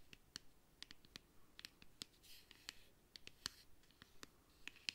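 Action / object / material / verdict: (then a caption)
tap / plastic makeup palette case / plastic / none. Fingernails tap and scratch a flat, hand-sized, hollow black plastic makeup palette case. The result is a quiet series of sharp, bright clicks that stop instantly, with soft, hissy scratching between them.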